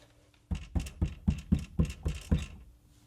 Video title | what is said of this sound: Tu aimes la musique en voiture ? Alors regarde cette vidéo ! | Ça sonne sec, ça va être incroyable.